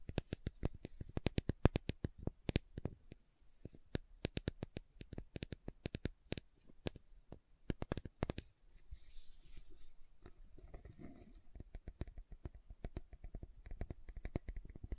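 A round green plastic aloe vera gel tub with a lid, held in both hands, is tapped and scratched on its side and lid with long nails. Quick, dry, quiet clicks and taps come in rapid bursts, with a softer stretch of scratchy rustling in the middle before the tapping picks up again.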